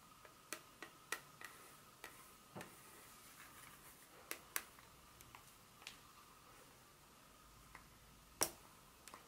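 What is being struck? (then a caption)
Dark chocolate bar. A solid dark chocolate bar is held in hand and turned from its smooth back to its segmented front while long pointed nails tap and scratch it. Eleven sharp, bright, dry clicks ring out briefly over a quiet, faint scratchy rustle and a steady soft tone near 1.2 kHz.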